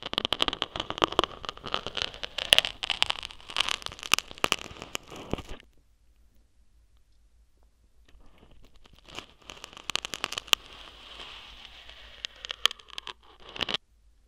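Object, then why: Thin metal needles on a foam microphone windscreen. One or two thin metal acupuncture needles with coiled handles poke and scratch into the soft white foam windscreen at the open end of a gold glitter-covered tube microphone. Dense, bright crackling scratches and crunchy rustles fill the first half, then stop for about two seconds of near silence. Quieter scratching builds again, with sharp crackles scattered through it until the end.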